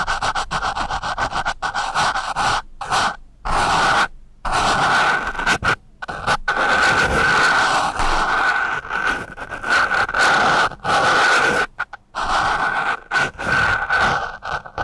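A pointed wooden pencil tip slides and scratches across a single porous foam microphone windscreen. The sound is a dense, raspy scratching in bursts with short silent gaps. It has a strong narrow band near 1.5 kHz and a wash of bright hiss above it.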